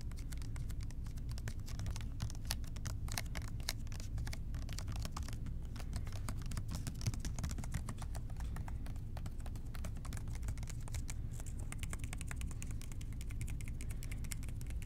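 Fingertips of both hands tap rapidly and continuously on a hollow blue plastic trigger spray cleaner bottle with a white trigger. The taps come as a dense, steady stream of short, dry plastic clicks with a bright edge, over a constant low hum. The level stays even throughout the clip.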